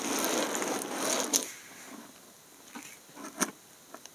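Fingertips scratch, press and crush thin, multicolored dried soap chips on top of a pile of fragments. A dense, bright crackling rustle fills the first second and a half and ends in a sharp snap. It thins to quieter scratching broken by a few isolated crisp, dry cracks that stop instantly.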